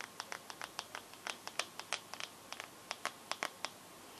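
Long gold nails tap and scratch the glass screen of a bare teal Samsung phone held up with the screen facing out. About 21 quick, bright clicks come in an uneven patter, each dying away almost at once over a faint steady hiss.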